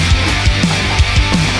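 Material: Nothing is struck.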